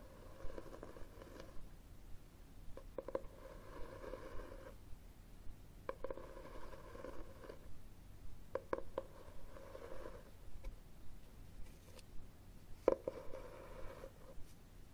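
Fingertips and nails scratch and tap the red textured cloth cover of a hardcover book, which is held upright and then tilted. Soft, close scratching swells in patches between sharp, short taps, with a low background rumble throughout.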